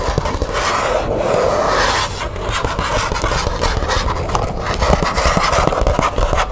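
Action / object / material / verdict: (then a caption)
scrape / thin plastic folder with metal grommets / plastic / none. Long nails scratch and rub along the surface of a thin green matte plastic folder with metal grommets. The result is a steady, dry scraping hiss with a low rumble underneath, broken by small scratchy ticks and brief swells as the strokes shift.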